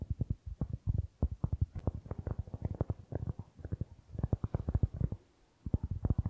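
Fingertips tap and scratch the surface of a round, flat, solid cork board held in both hands in front of the microphone. The result is a rapid run of soft, dull, low thumps with almost no ring, and a brief pause just past the five-second mark.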